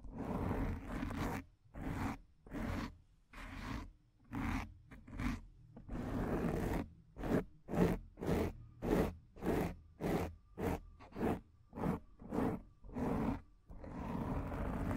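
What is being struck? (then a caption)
Foam microphone windscreen. Fingertips and long nails scratch the front of a black foam microphone windscreen, making rough, muffled scratching strokes. The strokes come in an uneven rhythm of just under two per second, separated by short silences. Longer continuous rubbing passages at the start, middle and end sound dull, heavy in the low range with very little bright edge.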